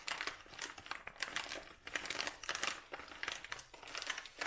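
A dried lavender bouquet in a brown kraft paper cone tied with twine has its paper crumpled and rubbed by hand. The result is a steady run of dry, crackly crinkling in uneven bright bursts, with almost no low end.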